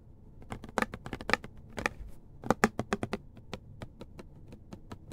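A medium, hollow white plastic pump bottle, fill level not visible, is held in the hands and tapped on its body with the fingertips. The result is a quick, uneven run of dry, clicky taps with a low hollow knock around 220 Hz. Each tap dies away almost at once.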